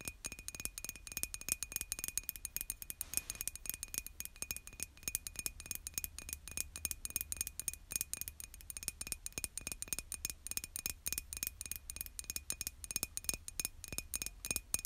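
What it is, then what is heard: Ceramic mug tapped with nails. Long nails tap rapidly and continuously on the side of a hollow white glazed ceramic mug held in one hand. The result is a dense stream of quiet, bright clicking taps, each very short, with a faint steady tone running underneath.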